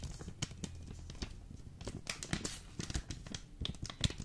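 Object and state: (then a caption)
Full vacuum-packed coffee bag. Fingertips quickly tap and scratch a full, hard Jacobs coffee vacuum pack in a green foil wrapper, which is then held close to the mic. Sharp, dry crinkly clicks with bright edges sit over a soft low rumble, each tap dying away almost instantly.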